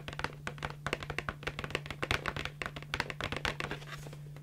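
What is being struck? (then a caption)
Small cardboard box. Long nails tap a hollow, small, printed yellow cardboard candy box held close to the microphone, producing a quick, irregular series of short, dry, clicky taps with bright tops and almost no ring. A steady low hum sits underneath throughout.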